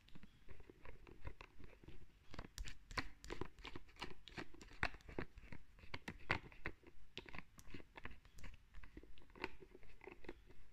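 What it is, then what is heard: Plastic lotion bottle. Long red nails tap and scratch on a white plastic lotion bottle with a green plastic cap. The result is a quick, fairly steady run of soft, crisp ticks and crackly scrapes, about three per second. Each tick has a dull low thump and bright clicky edges that die away almost at once.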